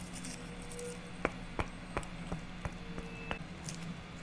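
A small, solid stack of round birch wood slices with bark edges, tied with jute twine, is tapped and scratched with long natural nails, first held in the hand and then resting on a table. Six sharp, dry taps sound at an uneven pace, each dying away almost at once. Faint scratching runs over a low, steady background hum.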